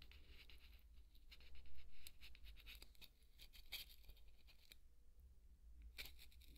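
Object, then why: Polystyrene foam ball scraped with a wooden skewer. A thin wooden skewer scratches and scrapes a large, white, solid polystyrene foam ball. The result is quiet, dry, bright scratching and patter in short irregular bursts, with a louder scrape near the two-second mark, over a steady low hum.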